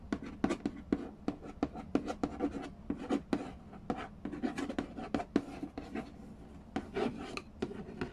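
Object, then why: Cardboard board game box. Fingertips and nails tap and scratch the glossy lid of a hollow cardboard Game of Life board game box. The result is a fast, uneven series of short, dry knocks with a hollow tone around 285 Hz, mixed with soft scratching. Each tap dies away almost instantly.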